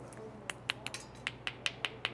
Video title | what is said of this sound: Discover the Flavourful World of Fortune Bay Oysters with Shucker Paddy | that oyster sounds solid it's good oyster to go if it sounds Hollow or like castanets you got to give it a second thought